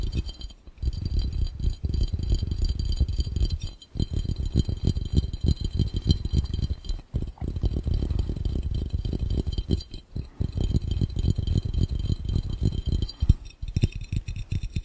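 Both hands tap very fast with their fingertips on a clear, round, hollow and empty glass fishbowl. The result is a dense, continuous patter of dull, low, rattling knocks that die away instantly. The tapping breaks off briefly a few times before starting again.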